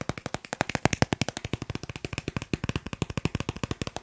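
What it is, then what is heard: Plastic card. A thin, solid dark blue plastic Snipes store card is held in the hands and tapped rapidly with fingertips and nails. About 40 short, dry, clicky taps follow one another in a fast, steady stream. Each tap has a soft low thump and a bright edge, and dies away almost instantly.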